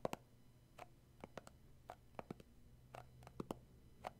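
Short fingernails and fingertips tap and grip the black lid and sides of a round plastic tub of shea butter with a printed label, likely full, while turning it in hand. About fifteen quiet, dry, separate taps and clicks are heard, each dying out almost at once over a low hum.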